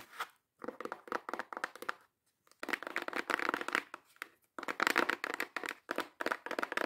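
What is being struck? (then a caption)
Small closed cardboard box. Long acrylic nails tap and scratch quickly and intensely on the top and sides of a small, hollow, closed brown kraft cardboard box. The result is a run of dry, papery clicks and crinkly scrapes with bright edges and almost no low end, arriving in dense bursts separated by brief silences. Each sound stops almost instantly, leaving no ring.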